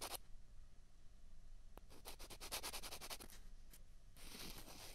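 Two small, hollow, white plastic ping pong balls of the same kind are held in both hands and rubbed and scraped against each other. The result is a quiet, dry scratching with a quick run of short, bright scraping strokes in the middle and a longer hissy rub at the end.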